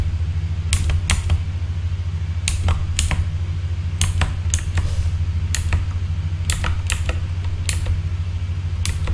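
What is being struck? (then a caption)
Plastic mechanical keyboard keys. Fingertips slowly tap the plastic keycaps of a full-size backlit mechanical keyboard, producing sharp, bright clicks in an irregular rhythm. A steady low hum sits underneath throughout.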